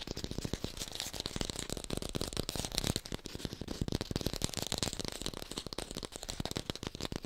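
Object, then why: Artificial lemon, plastic or foam. A small artificial yellow lemon held in the hand is fast-tapped with long pink nails. The result is a dense, continuous run of quick, dry clicks with no ring, combining a low thump with a bright, crisp top.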